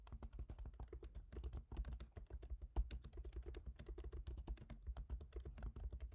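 Both hands type rapidly with fingertips on a MacBook Pro laptop keyboard, black plastic keycaps set in a silver aluminum body. A dense stream of short, crisp key taps runs throughout, each with a bright click over a low thud, with no speech.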